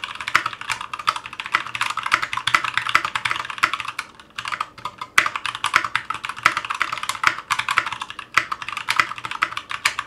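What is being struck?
Mechanical keyboard with ABS plastic keycaps.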